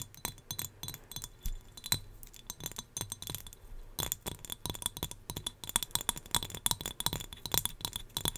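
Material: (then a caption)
Glass. A small turquoise glass whale figurine, also used to hold hair ties, is tapped in quick, irregular succession. Each tap gives a light, bright glassy clink with a very short ring. The clinks run continuously throughout, with a faint low hum underneath.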